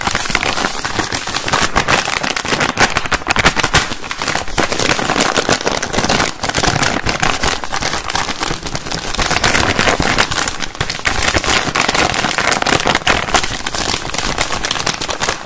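A medium-sized, flexible printed kraft paper bag, seemingly empty or lightly filled, is held in both hands while fingertips tap on it and crinkle it. The result is a dense, continuous crackle of rapid papery taps and rustles that stays steady in level throughout, with bright, broadband texture and little low end.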